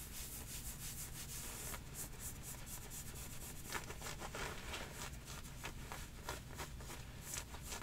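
Fingertips and long nails vigorously rub and scratch heathered grey knit leggings with a white drawstring, worn on the legs, at the upper thighs. The result is a continuous dry, bright scratching hiss with quick irregular strokes, over a steady low hum.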